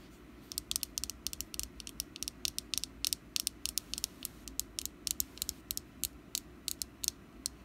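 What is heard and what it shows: Long nails tap and scratch a small, solid orange jack-o-lantern wax candle with a wick. Quick, sharp, bright clicks come in an uneven rhythm over a faint low hum, each one dying out almost instantly.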